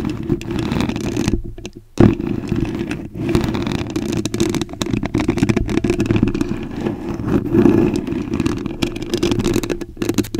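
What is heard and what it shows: Very long acrylic nails scratch and tap on a soft, porous white foam microphone windscreen, producing a dense, muffled rustling concentrated in the low-mids with little high end. The scratching drops out briefly just before the two-second mark, returns with a sharp tap, then continues steadily with small swells to the end.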